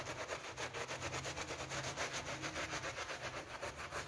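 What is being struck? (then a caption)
Wet PVC coil door mat brushed with a hand brush. A wet pink PVC coil door mat covered in foam is brushed vigorously with a hand brush held in a rubber-gloved hand. Rapid, steady back-and-forth strokes make a bright, bristly scrubbing hiss with a faint low rumble underneath, pulsing at a quick, even pace throughout.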